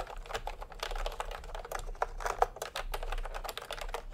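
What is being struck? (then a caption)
Plastic keyboard with round keycaps. Fingertips of both hands type continuously on a cream and pink plastic retro keyboard with round keycaps. A steady stream of quick, dry clacks comes through, with a mid-pitched click around 750 Hz, a light low rumble underneath, and a few louder key strikes near the middle. Each keystroke stops almost instantly with no ring.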